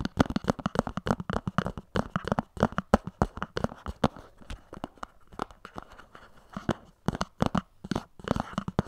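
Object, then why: Small cardboard box tapped and scratched with fingernails. Long nails rapidly scratch and tap along the top edge of a small, hollow white cardboard earphone box standing upright on a pink surface. The result is a dense run of dry, quick clicks and scratchy, crinkling rasps with a hollow low-mid body. Each tap dies away almost instantly, with a quieter, softer stretch in the middle before the tapping picks up again.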